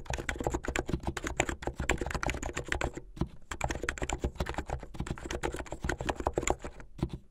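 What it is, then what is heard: Plastic mechanical keyboard. Fingers with medium painted nails type fast on a backlit mechanical keyboard with white and blue plastic keycaps. A dense run of short, dry clacks blends a low thump with a bright click, with a brief pause about three seconds in before the rapid typing resumes.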